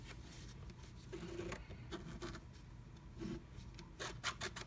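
A wooden stylus scratches quickly across flat black scratch art paper inside a diamond-shaped stencil cut-out, revealing pink colour beneath. Quick, dry, rasping strokes come in short bright bursts over a quiet low rumble, each stroke stopping sharply with no ring.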